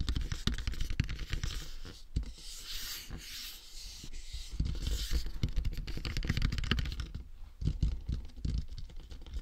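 Fingertips tap and rub the forehead and top of a hollow, matte black plastic dummy head microphone. The result is a steady stream of soft, muffled thumps and dry scratching, with brighter rubbing hiss rising in the middle of the clip.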